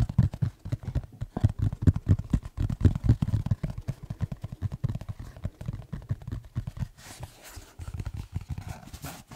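Fingertips tap and scratch across the surface and edges of a black tablet folio case with a textured cover. Rapid, dry, low taps pile into a dense patter. In the last couple of seconds this thins into quieter, softer scratching with a faint brighter hiss.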